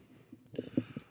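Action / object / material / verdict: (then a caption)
knock / wooden table top / wood / none. A hand knocks on a wooden table several times, making soft, dull thuds with a low-mid body that die away almost at once. The knocks rise out of a quiet background and land in an uneven cluster near the end.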